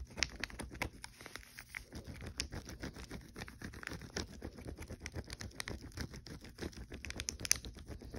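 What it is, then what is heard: Wrapped chocolate wafer bar. Fingertips and nails tap quickly and lightly scratch a full, unopened king size Kit Kat chocolate wafer bar in a red plastic-foil wrapper resting on a dark blanket. The result is a dense, steady patter of short, crisp crinkly taps with bright, papery scratching.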